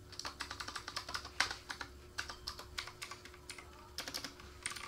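Fingertips of both hands type rapidly on a black plastic K28 mechanical keyboard with RGB backlight and a wrist rest. The result is a quick run of sharp, bright clicks with brief pauses, over a faint steady hum.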